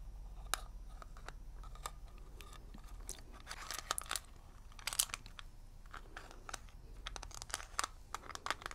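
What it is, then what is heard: Metal mint tin. Fingernails tap and scratch the lid and edges of a small hollow metal mint tin shaped like a shield, held in both hands. The result is a quiet series of sharp, bright metallic clicks mixed with crunchy scraping textures over a low background rumble.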